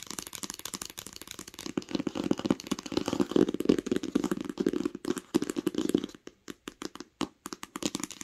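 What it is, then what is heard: Hardcover book. Long acrylic nails tap fast on the cover of a large, smooth green hardcover book lying flat on a blanket. The taps form a dense, rapid clatter of short, dry clicks with a hollow, mid-pitched body. After about six seconds they thin out into sparser, separated taps with brief silences between.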